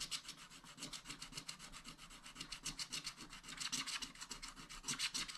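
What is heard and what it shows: A wooden scratch stylus scratches lines into the black coating of a flat, thin scratch-art sheet over colored foil paper in a spiral-bound pad, with one hand holding the sheet down. The continuous scratching comes as quick, uneven strokes, about three or four per second. It makes a bright, dry, hissing rasp with little low end.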